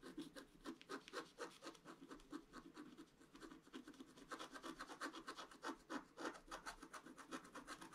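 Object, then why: Coated scratch-art paper scraped with a pointed wooden stick. A pointed wooden stick scratches a flat scratch-art page, a black coating over colored paper. It makes quick, uneven back-and-forth rasping strokes, about four per second, each a short dry scrape with a low-mid body and bright, hissy edges.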